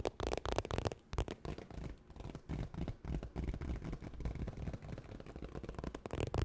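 Fingernails tap quickly and scratch across a holographic textured vinyl makeup bag, making a dense run of soft, dull taps and rough scrapes that are mostly low in tone. The hits come fast and blur together without pauses.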